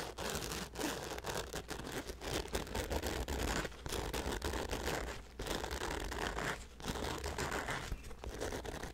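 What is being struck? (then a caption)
Nylon fabric bag. A hollow black nylon fabric bag with a handle on top is held by the handle over the microphone and scratched and rubbed with the fingertips. The result is a steady stream of close, crinkly rustling and scratching with a low rumble underneath and brief pauses between the strokes.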